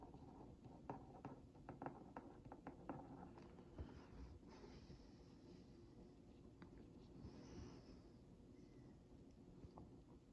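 A wooden skewer tip is traced over a printed cookie on a hollow Oreo Mini cardboard box held in one hand, producing a quiet, dry scratching. Short sharp ticks cluster in the first few seconds, then give way to a softer, continuous low scrape with faint brighter streaks.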